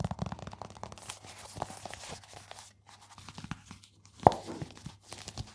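Fingertips and nails rub and scratch the leather surface of a small, flat, dark leather card wallet with stitched edges, held in both hands close to the microphone. Dense, dry scratching and crinkly rustles come in uneven bursts over a faint steady low hum, with one sharper, louder scratch near the end.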